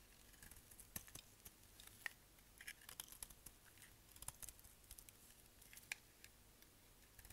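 A solid, dry black bar of soap, held in the hand, is shaved along its edge with a utility knife blade. Quiet, crisp, bright scraping clicks and crackles come in an irregular stream of short, dry ticks over a low, steady background hiss.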